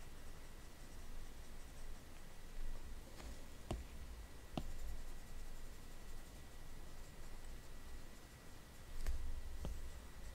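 The plastic tip of an Apple Pencil, held in the fingers, dabs and taps on the glass touchscreen of a large iPad while painting spots. Sparse, soft, sharp clicks sound over a quiet background with a low hum around 59 Hz and a faint steady tone near 2 kHz.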